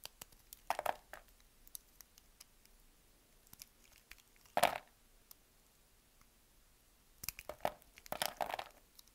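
A palm-sized solid beige bar of soap, held in one hand, is cut into slices and cubes with a utility knife blade. Crisp, short clicking cuts come in irregular bursts, some clustered into quick crackly runs, with the loudest cut near the middle and a busier stretch at the end.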